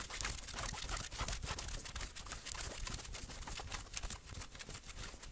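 Fingertips and nails scratch quickly across the sleeves and chest of a worn grey and maroon fleece hoodie. The result is a dense, uneven run of bright, hissy rasps over a soft low rumble, with no pauses between strokes.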